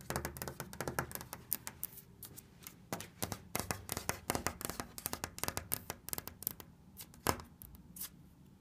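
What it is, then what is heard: Wood-laminate cabinet. Red-nailed fingers tap and scratch across orange wood-laminate cabinet panels with a black trim strip on solid furniture. The result is a quick, irregular series of dozens of short, dry clicks and taps mixed with soft scratching, each sound dying away almost at once.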